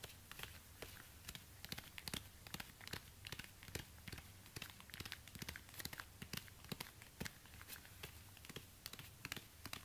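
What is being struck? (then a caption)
High-heel shoe with synthetic rubber sole. Orange rubber-gloved fingers tap and scratch the worn synthetic rubber sole of a single black stiletto pump, which is held upside down, hollow and empty. Quick, dry, bright clicks and crinkly scratching come in rapid irregular bursts with almost no ring, over a faint low hum throughout.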